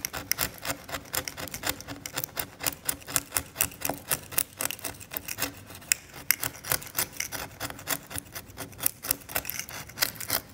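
A steel scalpel blade scrapes the varnish off a cracked, varnished oil painting on canvas in short strokes. It makes a fast, uneven series of dry, bright rasping scratches, about four per second. Each scratch stops sharply with no ring.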